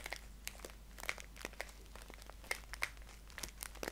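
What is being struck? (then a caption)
Paper tea pouch. Fingertips scratch and crinkle a green paper tea package held upright. The result is a string of sharp, bright crackles and dry scratches that start and stop quickly over a steady low hum.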